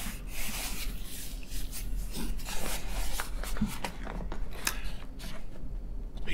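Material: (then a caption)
Paper. Both palms and fingertips rub and press across a large tan ReadyPost padded kraft paper mailer envelope, hollow and filled with a soft parcel, lying on a table. The result is a steady, papery rubbing and scraping texture over a low rumble, broken by short crinkly bursts and bright scratchy streaks.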